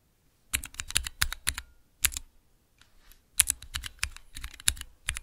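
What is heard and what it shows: Fingertips press the keys of a small clear plastic Cherry MX key switch tester, making quick bursts of sharp, bright clacks with a light low thump under each press. The presses come in two rapid runs separated by a brief pause, and each click dies away almost instantly.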